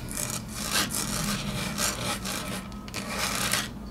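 Long natural fingernails tap and scratch across a large, flat, solid grey wood-grain laminate tabletop. Repeated bright, raspy scraping strokes rise and fall over a steady low hum.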